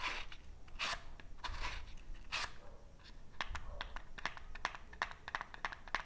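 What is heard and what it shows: A small cardboard matchbox full of wooden matches is handled up close as fingertips rub its cardboard surfaces and its drawer slides open and shut. Soft, broad scraping swishes in the first half give way to a quick series of crisp, bright clicks and taps, with a faint low rumble underneath.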